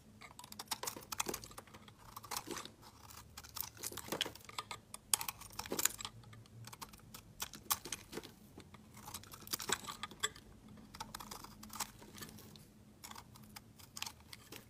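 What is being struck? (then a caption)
Bar of soap scraped with a knife blade. A hand-sized solid white soap bar with a glittery orange rim is held in the hand and shaved with a utility knife blade, so flakes curl off. Quiet, bright, crisp scraping and crackling strokes come in rapid, uneven bursts with almost no low end. Each scrape stops dead without any ring.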